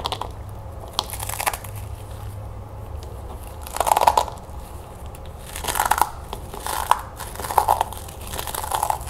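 Small dry chocolate puffed corn cereal balls are crushed and rubbed between fingertips with long painted nails over a plastic bowl, the crumbs falling into it. Soft, dry crunches and crinkles come in bursts, with brief sharp cracks and a steady low hum beneath.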